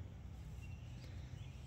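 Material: Nothing is struck.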